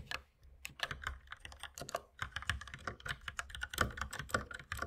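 Both hands type continuously with their fingertips on a compact white mechanical keyboard with plastic keycaps and red accent keys, resting on a wooden desk beside an unused mouse. The result is a rapid, uneven stream of short, crisp plastic clacks with a bright click and a light low thud under each keystroke. Each keystroke dies away almost instantly.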